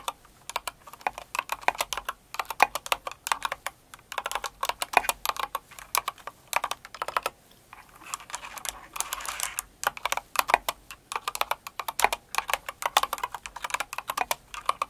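Both hands with long acrylic nails type quickly on a Cinnamoroll-themed kawaii mechanical keyboard with plastic keycaps. Dense, bright clacky keystrokes come in bursts, separated by brief pauses. Each click is short and dry, centered in the midrange with a crisp high edge.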